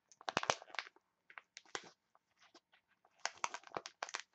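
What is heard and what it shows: A printed foil face mask sachet is squeezed and crinkled by hands with long nails. Quick, bright crackles and crisp rustles come in bursts separated by short near-silent pauses, with the densest clusters at the start and end.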